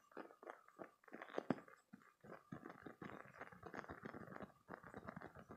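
A green spiky silicone squeeze toy is held in both hands, squeezed and scratched with fingertips and short painted nails. The result is a quiet, rapid run of soft squishy, sticky crackles and scratchy rubs, mostly in the mid-range with little bright content, plus one sharper squeak-like snap near the middle.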